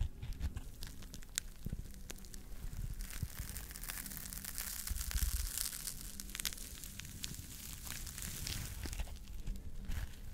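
Fingertips squeeze and scratch across a hand-sized smiley-face scrub sponge of solid but soft yellow polymer foam, with holes on one side and a pink scouring side, held close to the microphone. A steady, crinkly, crackling scratch runs throughout over a heavy low rumble, with quick sharp ticks and brighter hissy swells in the middle.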